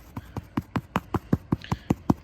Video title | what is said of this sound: How to Align & Cut Synthetic Putting Greens. Common Mistakes in Artificial Grass Installation | it kind of makes a hollow sound if you will when you're tapping around